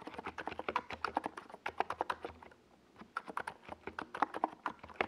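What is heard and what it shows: Fingertips of both hands type steadily on a NiZ Plum Atom 68, a compact 68-key mechanical keyboard with a white plastic case and purple and yellow Domikey Gas Attack SA plastic keycaps, resting on a purple desk pad. Quick, crisp plastic clacks with a mid-pitched, bright tone come in a fast, uneven stream. They pause briefly near the middle, then resume.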